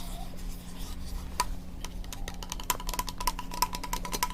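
A fingertip taps and scratches on the brushed nickel sink plate of a new kitchen faucet, which has a foam seal along its side to keep water from getting underneath. Soft scraping and rubbing run throughout, punctuated by sharp, short metallic taps that give a faint ring near 1 kHz with bright overtones.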